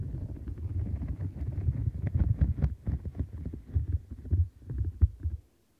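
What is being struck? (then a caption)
Silicone bristle mat scratched with nails. Long nails scratch along the rim bristles of a light blue silicone bristle-and-bump scrubber mat and grip its edges, making a dense, muffled, low rumbling rustle. Sharper, brighter clicks pop out now and then before the sound cuts off near the end.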